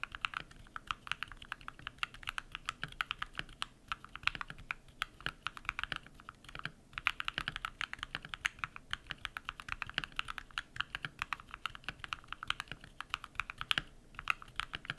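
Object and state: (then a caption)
Mechanical keyboard with PBT plastic keycaps. A compact modded mechanical keyboard with white PBT plastic keycaps and lubed switches is typed on rapidly with bare fingertips. The result is a steady stream of short, crisp, bright clacks with very little low end and no lingering ring.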